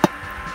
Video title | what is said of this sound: Thánh Xàm Làm Gà Nướng Úp Nồi Độc Lạ Miền Tây Ai Nhìn Cũng Phải Thèm | nó không thanh nè. Đó, là chứng tỏ nó vừa chín tới luôn